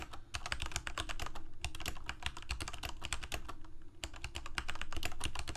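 Fingertips of both hands rapidly press keys on a full-size Corsair mechanical keyboard with plastic keycaps on mechanical switches, a hollow plastic case and blue backlight. The result is a fast, uneven stream of short, sharp clicks and clacks with very little ring, backed by a deep, hollow thud from the case beneath the bright key snaps. The typing pauses only briefly around the four-second mark.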